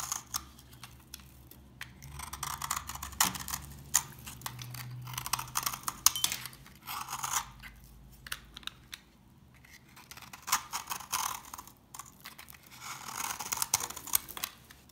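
A knife scrapes and cuts into a dry, very old, solid translucent amber glycerin soap bar with yellow crystallized spots, held in hand. The result is a run of crisp, bright crunching and scraping bursts with short pauses between them.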